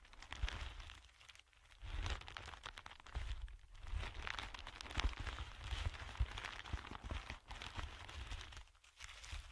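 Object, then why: Thin clear plastic film. Thin clear plastic film is held in both hands while the fingertips crumple and crinkle it. A continuous run of crisp, bright crackles and crinkles sits over a strong low rumble, easing into brief quiet gaps around 1.5, 3.7 and 9 seconds before picking up again.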